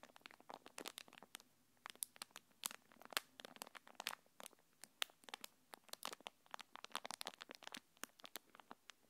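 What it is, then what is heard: Plastic packaging film. A thin translucent plastic packaging wrapper is held between both hands and crinkled and rubbed with long painted nails. The result is a quiet, steady stream of sharp, bright crinkles and crackles, with tiny dry snaps that stop instantly and almost no low end.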